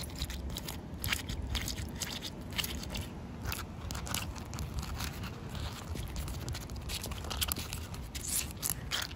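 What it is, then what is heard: Wet concrete slab, scratched and tapped. Short white nails scratch and tap on a solid, wet outdoor concrete pavement slab with a joint. The result is a steady gritty scraping with bright crackly ticks and frequent light taps over a dense low rumble, with no lingering ring.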